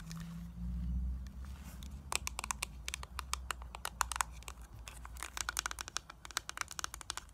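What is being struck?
Small plastic makeup compact.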